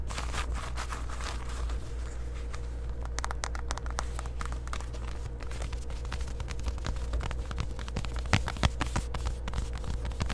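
Long white acrylic nails scratch and tap the front and hip of worn black distressed denim shorts made of soft fabric. A steady low hum sits under continuous rough scratching with crackly, bright ticks, and a few sharper taps stand out near the end.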